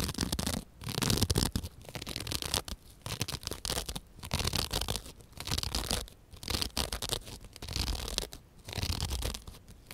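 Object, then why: Open-cell foam sponge. A square, soft, porous white open-cell foam sponge is held in one hand and scratched with the long dark-painted fingernails of the other, while an identical sponge lies idle nearby. Rough, crackly scratching comes in uneven bursts about once a second, with a dull low rumble under a bright, hissy texture and short quiet gaps between strokes.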